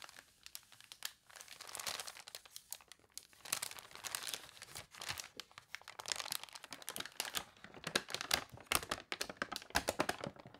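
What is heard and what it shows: Long nails tap and scratch across the thin newsprint of an open newspaper, making dense, bright crinkling and crisp rustles with many quick ticks. A page of the newspaper is then turned with a papery crunch.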